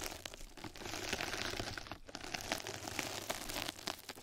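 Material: Plastic mesh.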